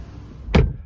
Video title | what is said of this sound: EQA라 쓰고 GLA라 읽는다. 럭셔리 소형 SUV 전기차 EQA시승기! 5990만원.. 비싼데?! | 문을 닫을 때 뭔가 텅 텅 빈 소리가 나는거